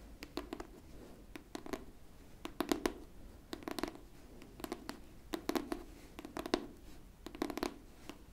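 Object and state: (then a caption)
Hardcover book scratched and tapped with nails. Long pink nails on both hands scratch and tap the cover of a pink hardcover book held flat. Quick clusters of crisp, clicky taps and short scratches come in bursts, with a hollow, mid-low body under bright, dry ticks that stop almost at once. The sound stays quiet and close throughout.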